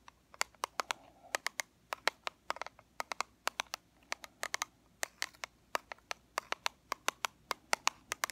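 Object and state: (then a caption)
Plastic powder compact tapped with fingernails. A small, flat, black plastic Fit Me pressed powder compact, closed and held in the hands, is tapped on its lid with long fingernails. Around 40 sharp, dry clicks come in an uneven rhythm, each bright and very short with almost no ring, over a quiet background.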